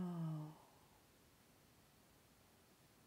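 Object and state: Nothing is struck.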